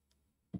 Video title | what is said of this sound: PHI 1000 Churchland Lecture | filled with water made of plastic sounds like this when you tap it